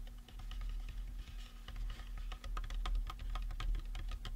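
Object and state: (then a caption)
Resin skull prop tapped with fingertips and nails. A life-size painted resin or plastic Halloween skull prop, likely hollow, is held in both hands and tapped on its sides with fingertips and short nails. Quick, irregular, light clicky taps with a hollow tone come through over a steady low hum.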